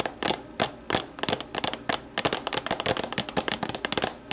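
Long nails scratch, rub and tap the walls of an empty, hollow, translucent plastic deli container, first resting upside down and then lifted. The result is a rapid, irregular stream of bright, crackly clicks and scrapes that die away almost instantly, with very little low end.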